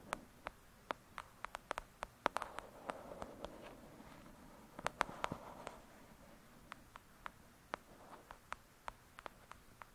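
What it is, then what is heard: Paperback book tapped with nails. Long acrylic nails tap the cover of a thick, solid *Lady Midnight* paperback book lying flat. There are about thirty sharp, dry clicks with bright tops and almost no ring, spaced irregularly over a quiet background. Soft rustling fills the gaps around the busier taps.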